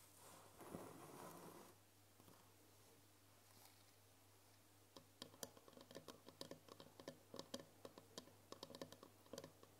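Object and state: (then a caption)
Glass jar. A tall cylindrical glass jar with a green lid, filled with foil candy wrappers, is tapped on its glass side with long nails. After a brief soft rustling and a quiet stretch over a low steady hum, a quick, uneven run of about 25 sharp, bright clicks rings briefly around 550 Hz.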